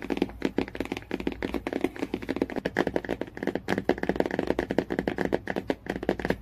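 Fingertips and nails tap quickly on the matte cardboard cover of a hardcover Jungle Book storybook lying flat. The result is a rapid, steady stream of short, dry taps with a muted mid-low tone and almost no ring.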